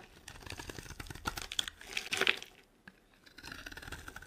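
A metal blade scrapes shavings off a solid, rounded, embossed pink bar of dry soap held in the hand. It makes a run of dry, crisp, high scratching and crunching sounds that build to a louder crackling burst, then pause briefly before the scraping resumes.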